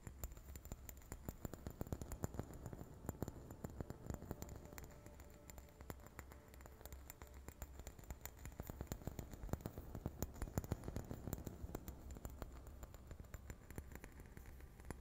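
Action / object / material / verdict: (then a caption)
tap / small ceramic Christmas ornament / ceramic / none. A small, hollow, red painted ceramic Christmas ornament, held in the hands close to the microphone, is tapped with long fingernails in a quick patter. The result is a soft, continuous stream of short, dry clicks with no ring, over a steady low hum.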